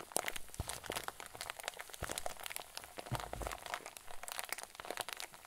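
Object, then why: Plastic zip bag filled with fluffy filling. A hand-sized clear plastic zip bag stuffed full with white fluffy filling is cupped in both hands and squeezed with fingers and thumbs. It gives a steady run of soft, dense crinkles and crackles with bright, crisp edges and the occasional low muffled thump.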